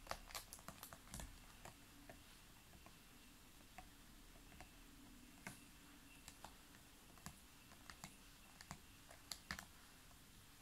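Fingernails tap and click on a large, clear, ridged PET plastic water bottle full of water. Short, sharp, bright clicks come at irregular intervals over a low, steady background hiss, each dying away almost at once.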